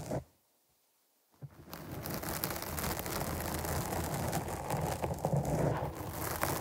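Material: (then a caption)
Foam. Long nails scratch the top and side of a black foam windscreen on a microphone. A short scratch is followed by about a second of near silence, then a steady, dense, low-heavy rustling and crackling scratch runs to the end.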